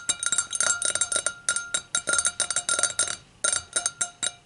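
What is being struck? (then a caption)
Glass hurricane glass. Long acrylic nails tap rapidly around the rim of the round foot of an empty, clear hurricane glass held upside down. The result is a quick, uneven run of bright, high glassy clinks over a faint, steady ringing tone, with each tap dying away almost at once and no low end.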